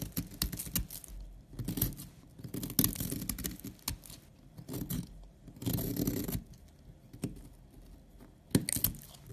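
A utility knife blade scrapes a powdery layer off a solid, opaque tan bar of soap held upright. Bursts of dry, raspy scraping come in uneven passes, with short gaps and quick, crisp scratches between them.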